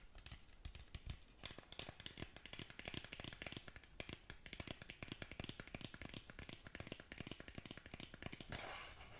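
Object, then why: Cardboard cosmetic box. Long nails tap rapidly on the front face of a long, narrow black cardboard lip gloss box held close to the mic, producing dense, dry, clicky taps with short bright transients and a soft low thump. The tapping runs steadily for about eight seconds, then gives way to a brief hissy, brushing sound at the end.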